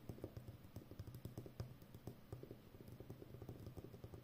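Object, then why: Roll of plastic packing tape on a cardboard core. Long nails tap and scratch the rim of a full roll of brown plastic packing tape wound on a cardboard core with a hollow center. The result is a quiet, steady run of soft, dull, low taps with a hollow thump, each dying away almost at once over a faint scratchy hiss.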